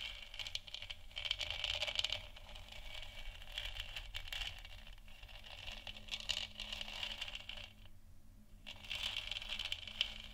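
Long nails on both hands tap and scratch across the top and sides of a lit, hollow plastic moon lamp sphere. They make a dense, bright, crackly stream of quick clicks and scrapes centered around 3 kHz, with a low steady hum underneath. The sound dips into a brief near-silence around eight seconds, then the tapping and scratching pick back up.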